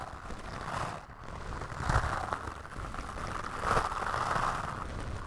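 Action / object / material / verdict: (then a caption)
scrape / foam microphone windscreen / foam / none. A bamboo toothbrush held in the fingers brushes its white bristles across a soft, porous black foam windscreen on a microphone. The result is a close, muffled scratching and rustling with low rumble and a midrange hiss that swells and fades in strokes, with little high-end brightness.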